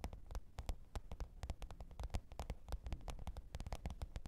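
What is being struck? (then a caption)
Faux leather hard-shell zippered case. Long pointed nails tap and scratch the top of a black, textured faux-leather zippered hard-shell microphone case lying flat on fur. A quick, uneven run of short taps gives dull, low thuds with crisp, bright clicks on top, each dying away almost at once over a soft background hum.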